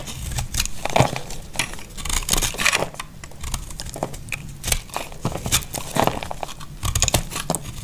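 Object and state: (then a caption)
Dry soap bar. A utility blade carves brittle chunks off a solid, hand-sized dry orange soap bar. Short, dry scraping cuts and crisp crackling snaps come in quick irregular bursts, each with a low thud beneath bright crumbly detail that dies away almost at once.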